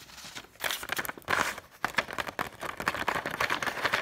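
A single thin, flexible Egyptian paper banknote, held up in both hands above loose banknotes lying on a table, is scratched and crinkled with long painted nails. After a faint opening, bright, crisp bursts of papery crinkling and scratching come in quick irregular waves with almost no low end. The rustling grows denser and busier through the rest of the clip.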